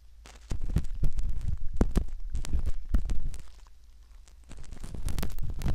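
A curved metal pick scratches the canal rim of a soft silicone ear model, making a quick, irregular run of dull, muffled scraping clicks heavy in low rumble. The scratching softens to near silence briefly before picking up again.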